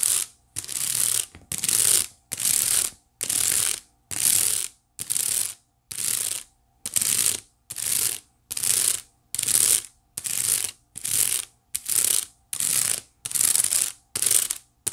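Long nails scratch rapidly across the weave of a hollow white woven wicker basket tilted near the mic. It makes bright, dry, ratchet-like clicking in about eighteen short bursts, roughly one a second, with near-silent gaps between them.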